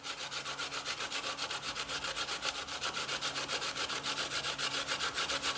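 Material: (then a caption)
Coconut. A brown-skinned chunk of fresh, solid coconut flesh is held in the hand and grated on a stainless steel box grater over a growing pile of shreds on a bamboo board. It makes a steady, rhythmic series of quick, bright rasping scrapes, about four strokes per second, each ending sharply with little ring.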